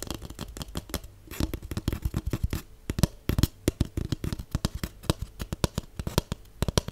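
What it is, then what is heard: Cardboard tube. Fingernails rapidly tap the cardboard walls of a large hollow cardboard tube with an open end. The sound is a steady stream of dozens of quick, dry, hollow knocks with a low, boomy body and a little bright click on each. Each tap dies away almost at once.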